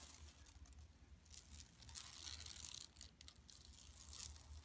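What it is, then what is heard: Woven plastic mesh shopping bag. Long nails scratch across a large, flat, empty yellow woven plastic mesh tote bag lying on carpet, using both hands. The result is a quiet, continuous, bright scratchy rustle over a faint low hum. It swells louder in the middle and briefly drops out just after three seconds before resuming.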